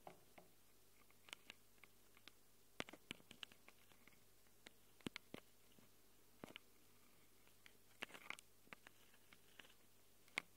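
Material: Metal.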